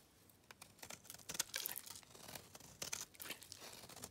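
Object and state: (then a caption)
Dry bar soap being scraped. A metal blade scrapes thin dry curls off a solid white bar of dry soap held in the hands, the curls piling up on a red surface. The scraping comes as a rapid, irregular run of short, crisp rasps and crackles, mostly high and bright with almost no low end. Each stroke stops dead with no ring, and the overall level stays quiet.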